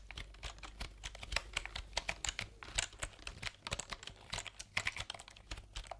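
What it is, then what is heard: Plastic computer keyboard. Fingertips type and tap rapidly on a backlit plastic computer keyboard with round keycaps, held horizontally between microphones. The result is a quick, uneven stream of crisp, bright clicks that stop dead with no ring, over a faint low hum.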